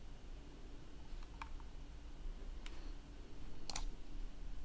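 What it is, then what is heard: Plastic laptop keyboard keys. Fingertips press and click the keys of a black plastic laptop keyboard, making a few sparse, sharp, bright clicks. The clicks are quiet over a steady low hum.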